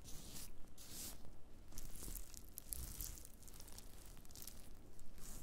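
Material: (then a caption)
Dried fungus. Black-gloved fingertips press, rub and scratch a pile of thin, brittle, brown dried black fungus (wood ear mushroom) pieces on a white cutting board. The result is a quiet, continuous stream of dry, papery crackling and tearing scratches, with brighter crisp bursts over a low, soft rumble.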